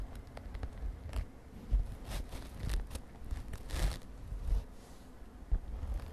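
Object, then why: Padded synthetic glitter fabric pouch. Long nails on both hands tap and scratch a padded, mint-green glittery synthetic fabric makeup pouch. Soft, dull low thumps come at an irregular pace, mixed with faint scratchy rustling and brief bright crackles as the nails drag across the fabric.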